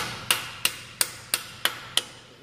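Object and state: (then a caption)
Bearing ring fully seated. Six evenly spaced, sharp metallic taps as a metal bearing ring is hammered further in during a 2006 Honda Civic Si clutch replacement. Each strike is a bright, short clank with a high ring near 2.8 kHz that dies away quickly. The tone sounds solid and the ring ends up flush, fully seated.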